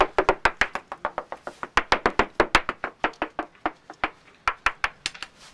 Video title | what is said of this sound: This keel needs a good clean – and how to inspect your boat with a hammer | as you're tapping along you can hear the thickness difference